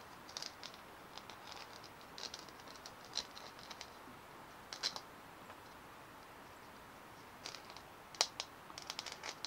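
Long manicured nails tap and scratch over the bumpy, dimpled surface of a fist-sized white hollow plastic ball held in both hands. The result is quiet, bright, dry clicks and scratchy rasps in scattered bursts with brief pauses between them. Each sound dies away almost instantly, with next to no low end.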